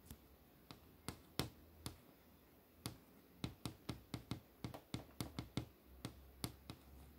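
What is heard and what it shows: Long nails tap and trace along the solid panel of an LCD monitor screen showing a poster. About 20 short, sharp clicks land at an uneven pace, each with a dull low thump under a bright tick and almost no ring. A faint steady hum sits underneath.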